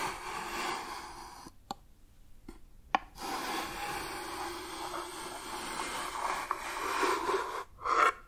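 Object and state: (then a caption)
Wooden box. Fingertips and nails scratch and rub the surface of a hollow, medium brown wooden box with a hinged lid and a compartmented, mostly empty interior; the lid opens during the clip. A dry, raspy scraping with a midrange body fades out around 1.5 seconds. Several sharp clicks and taps follow in the near-silence before the rubbing resumes and swells at the end.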